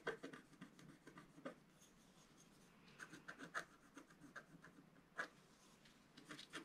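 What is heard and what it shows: A wooden stylus scratches lines into the coating of a flat black scratch art sheet lying on a table. Quiet, dry scratching strokes come in short bursts with brief pauses between them, each stroke a light rasp with a bright edge that dies away almost at once.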